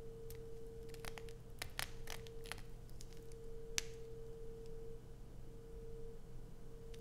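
Long acrylic nails scratch and dig into a solid blue bar of soap with a grooved surface, held in the hands. Short, sharp, bright scratches and clicks come in scattered bursts, mostly in the first four seconds. They sit over a steady low hum with a faint constant tone.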